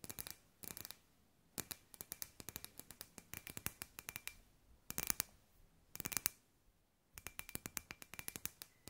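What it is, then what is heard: Glass light ball. A palm-sized, hollow, clear glass sphere with fairy lights inside is held in both hands and tapped and scratched with long white nails. Quick bursts of sharp, bright clicks and light scratches come in clusters, separated by short quiet pauses, with a faint glassy ring under some taps. Each tap dies away almost at once.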